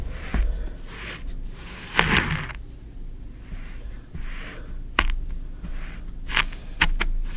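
A thin wooden stick is poked and dragged through green kinetic sand in a tray. Soft, gritty scraping and crunching swells come and go, broken by several short, sharp taps, over a steady low hum.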